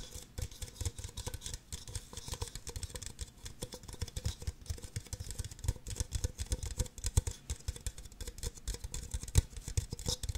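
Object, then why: Empty plastic party cups. Long nails tap and scratch quickly on the bases and sides of two identical empty, hollow red plastic party cups. A steady, dense stream of short, hollow, low taps mixes with a bright, scratchy hiss throughout.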